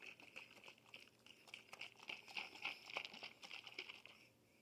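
A glass bottle is tapped and shaken, giving a quiet, fast, uneven patter of short, bright clicks that ring around 2.3 kHz. The taps build slightly in loudness toward the middle, then thin out and fade near the end.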